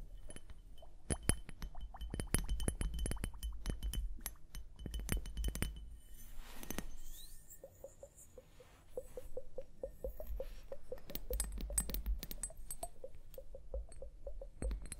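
Long painted nails tap and scratch the bulbs of a small hollow glass liquid-motion hourglass filled with blue liquid and clear beads, held in both hands over fur. Dense, sharp glassy clicks and clinks with a bright edge come first, then a brief swishing sweep. After that, a steady rapid string of soft pulsing tones plays under renewed tapping, all over a low, dull background rumble.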